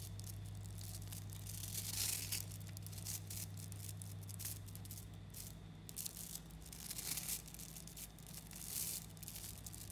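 Fingers knead and pull apart chains in a handful-sized clump of about 11,000 small solid 3mm neodymium magnetic metal balls, so the spheres click against each other. Dense, bright crackling and rattling ripples continuously, swelling into fuller bursts now and then over a steady low hum.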